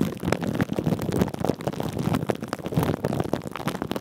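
Fingertips and short nails rub and scratch thin clear plastic cling film stretched over a metal mesh microphone head. The result is a dense run of crinkly, rustling scratches with a thick low rumble underneath. Many short bursts rise and fall without pause.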